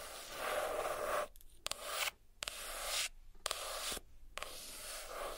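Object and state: Hardcover notebook being scratched and tapped.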